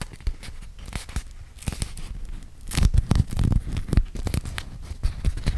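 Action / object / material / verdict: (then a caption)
scrape / beeswax-coated cotton food wrap / waxed cotton / none. Hands with dark-polished fingernails pinch, crinkle and unstick a small flat sheet of yellow beeswax-coated cotton food wrap with an animal print, held in front of a microphone without touching it. Dense, quick sticky crackles and crinkling snaps come through with a heavy low-end thump, growing louder and busier in the middle before easing back to softer crinkles.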